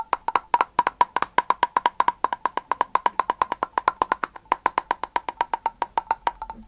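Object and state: Glass jar with metal lid.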